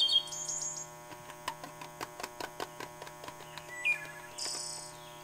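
A metal can is tapped, giving fourteen short, bright clicks over a steady low hum, each dying away almost at once. High chirping tones open the clip, and a hissing burst rises near the end.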